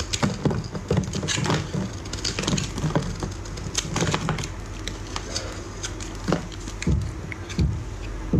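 A utility knife blade shaves and scrapes a solid yellow rectangular bar of dry soap into crumbly shavings. The result is a steady run of dense, crisp scraping crackles and short dry ticks, with sharp bright clicks standing out over a low rumble.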